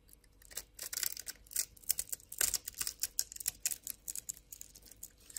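A hand-sized, pre-scored orange bar of soap held in the palm is cut and scraped with a utility knife blade, making small soap cubes crumble off. The result is a dense run of quick, dry, bright scratching and crackling clicks with almost no low end.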